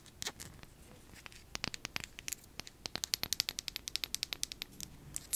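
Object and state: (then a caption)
Glass dropper serum bottle. Long nails tap and scratch a small, hollow glass serum bottle with a paper label and a dropper top. The result is a quick run of sharp, bright clicks and light scratches with a thin glassy ring, speeding up toward the end.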